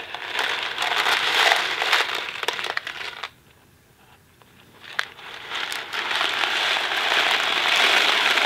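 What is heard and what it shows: A thin cardboard Kraft macaroni & cheese box filled with dry pasta is held in two hands, tilted and shaken with fingertips on the box. The dry pasta makes a dense, bright rattling and crinkling that stops for about a second and a half of near silence, with a single sharp tick, then builds back into steady shaking to the end.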